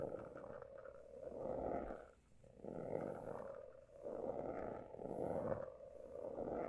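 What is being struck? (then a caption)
Hardcover notebook with a pebbled, embossed cover. A closed, roughly A5 hardcover notebook with a pale blue embossed, pebbled cover over a solid stack of pages lies flat while several fingertips tap and scratch across the cover. The result is a dense, soft rasping texture centered in the low midrange, swelling and fading in uneven waves. There is little deep bass and almost no high brightness.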